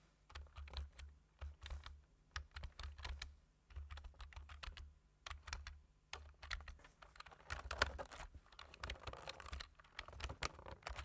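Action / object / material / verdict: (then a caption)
tap / plastic computer keyboard / plastic / none. Fingertips tap the keys of a black-keyed plastic computer keyboard with a white frame while typing. Quick, irregular bursts of short, bright clicks come in runs separated by brief pauses, with a low thudding rumble under each run. The typing grows denser and a little louder in the second half.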